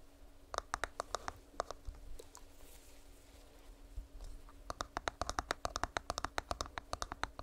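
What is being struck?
Plastic earbuds charging case.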